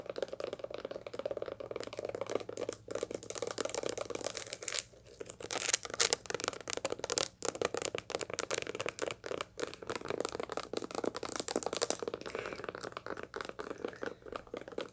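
A dried sunflower seed head, held in both hands, is scratched with long light-blue nails across its packed seeds. The result is a dense, continuous stream of dry, bright crackling and crinkling scratches, with brief pauses, over a faint low steady hum.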